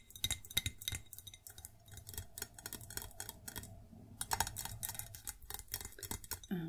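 A white ceramic plate is tapped and scratched, producing quick, bright clinks with a high ringing tone over soft scraping. The taps come in clusters with short gaps between them, and each clink fades almost at once.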